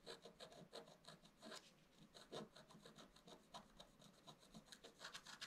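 A wooden stick scratches leaf details into a flat, black-coated scratch-art card. It makes a quiet, rapid series of short, dry scraping strokes with a bright, papery hiss. Each stroke fades almost at once.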